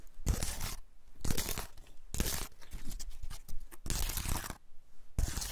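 Fingertips scratch and flick the tips of the open scales on a large, elongated, dry woody pine cone cradled in the hands. Repeated bursts of dry, crackly, tearing-like scratching alternate with brief near-silent pauses, and each burst is full of bright rustle over a low rumble.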